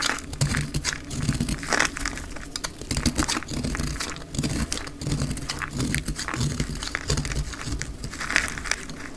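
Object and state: Dry crumbly soap being cut.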